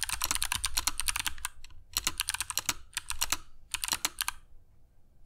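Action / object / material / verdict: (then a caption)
tap / mechanical keyboard with plastic keycaps / plastic / none. Fingertips of both hands type continuously on a compact mechanical keyboard with grey PBT plastic keycaps and clicky Kailh Box Jade switches, resting on a cork desk mat. Bright, sharp clicks come in quick bursts separated by brief pauses, with a soft low thud beneath each keystroke.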